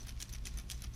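A homemade drift fishing rig rattle chamber holding bells and glass beads is shaken after more beads and another bell are added, producing repeated bright metallic jingling and bead rattles over a steady low hum. The rattle sounds good.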